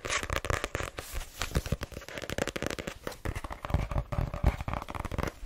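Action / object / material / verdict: tap / paperback book with card cover / paper / none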